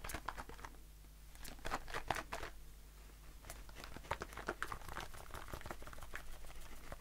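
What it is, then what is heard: Aluminium shaving foam can. A blue aluminium shaving foam aerosol can, with a metal bottom and plastic cap, is held in the hand and tapped with the fingertips. The result is a quick run of light, dry taps and crinkly clicks that die away almost instantly, centered around 750 Hz with brief bright edges. A steady low hum sits underneath.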